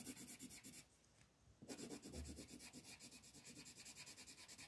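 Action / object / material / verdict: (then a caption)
scrape / colored pencil on thin paper sheet / paper / none. A black colored pencil is rubbed and scratched across a thin paper coloring book page lying flat on a table, while the other hand holds the sheet. Quick, rhythmic shading strokes make a bright, raspy scratching, pause briefly, then resume in a steady back-and-forth run.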